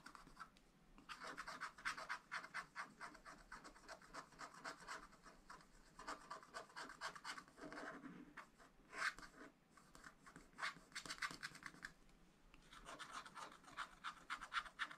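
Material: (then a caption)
Coated paper. A wooden stylus scratches away the black coating of a scratch-art paper page in a spiral pad lying flat on a table, working over strawberry shapes in short repeated strokes. Dry, raspy scratching comes in quick bursts separated by brief pauses, with a bright, papery texture centered in the upper mids and almost no low end.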